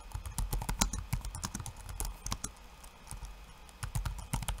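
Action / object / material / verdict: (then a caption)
tap / laptop keyboard with plastic keycaps / plastic / none. Bare fingertips type in rapid, uneven taps on a backlit laptop keyboard with plastic keycaps. About 22 short, dry clicks are heard, each with a low thud and a bright snap that dies away almost instantly. The taps ease into a quieter, sparser stretch midway before picking back up near the end.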